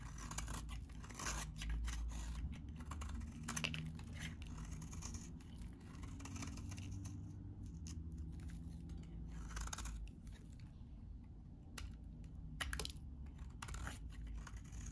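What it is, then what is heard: Dry bar soap, scraped. A metal utility blade scrapes and cuts crunchy shavings from a solid, very dry white bar of soap held in the hand. The sound is a dense run of dry, crackling scrapes with sharp bright snaps over a low steady hum.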